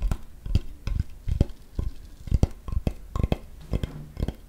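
A large, flat, solid wooden cutting board held close is tapped with fingertips and nails, the hand lifting between taps. The result is a quick, uneven run of dull, low, woody knocks with brief bright nail clicks. Each tap stops almost at once, with no ring.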